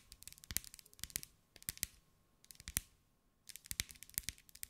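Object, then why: Glass mosaic ball. Long acrylic nails rapidly tap and scratch a hand-held sphere about 15 cm across, covered in small green glass mosaic pieces. Quick bursts of bright, sharp clicks with almost no ring are broken by two brief pauses, and a faint scratchy rasp runs beneath the taps.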